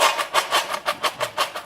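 Homemade croutons made from hamburger buns, baked for 30 minutes until brown and crispy, are rattled in the pan while still hot from the oven. Repeated dry, bright clattering bursts with no low end come in a steady rhythm, each one short and crisp. The croutons sound crispy and dry, as they should.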